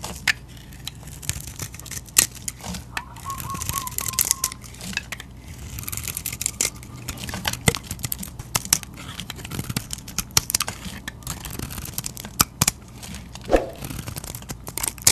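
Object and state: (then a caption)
Bar of soap being carved. A metal utility knife blade shaves and scrapes curls off a solid rectangular white bar of soap held in the hand. Dry, crackly scraping and crisp, bright snaps come in a steady run of short strokes over a faint low background. Each stroke stops almost instantly with no ring.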